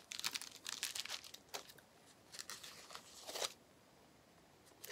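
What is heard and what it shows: A small flat sheet of clear plastic bubble wrap with air-filled bubbles is held in both hands while the fingertips squeeze and pop the bubbles. Bursts of bright, crackling pops come in quick clusters, with no low end. After a quieter stretch, one last pop sounds at the very end.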